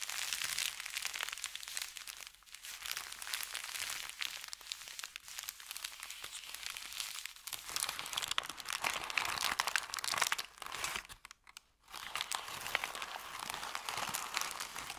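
An empty, crumpled paper bakery bag made of thin kraft paper is rubbed with the palm and fingertips, then scrunched between the hands. It gives a dense, bright, continuous crinkling and crunching with almost no low end. The sound goes briefly almost silent just before the 12-second mark, then the crinkling resumes.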